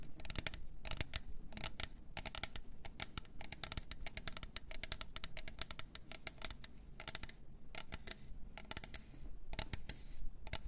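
Long nails scratch and tap the sides of a hollow, double-walled plastic glitter tumbler. Quick, sharp, bright clicks and scratchy strokes come in dense bursts with brief pauses, each tap dying out almost instantly over a soft low rumble.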